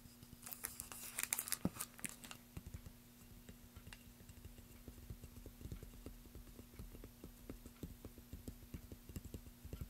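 A long, solid, light-coloured balsa wood plank with a small label, lying on a black surface, is tapped with the fingertips and short nails of both hands. A burst of bright, crisp nail clicks opens the clip, then gives way to a steady run of soft, dull, low thuds that die away almost instantly, over a faint constant hum.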